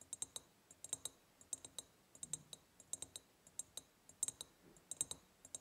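Long painted nails tap quickly on an empty ribbed clear glass jar. The result is a fast, irregular run of sharp, bright clicks, each dying away almost instantly, with a high glassy ping above them and little body beneath.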